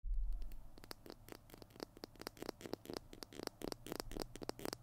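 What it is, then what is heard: Plastic glue stick. A small Tombow PiT glue stick with a white plastic body and blue cap is held in both hands as fingertips and nails scratch and tap along the plastic tube. Many quick, sharp clicks and scratches rise over a faint low hum, each dying away almost at once.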